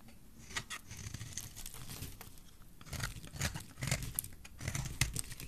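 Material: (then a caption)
Soap. A metal blade scrapes a solid, dry, oval bright green bar of soap, producing a dense run of crisp, crinkly scraping and flaking sounds. Bright, sharp streaks sit over a low rumble, and a handful of louder scrapes stand out near the end.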